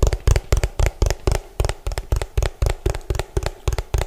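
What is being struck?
Hollow plastic food container.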